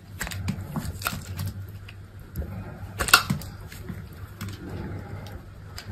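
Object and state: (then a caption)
Dry soap bar being carved. An orange-handled utility knife blade scrapes and carves thin chips off a dry, solid white soap bar with remnants of a black textured coating, held in the palm. Crisp, dry scraping and short bright ticks come over a steady low hum, with the sharpest crackle about halfway through.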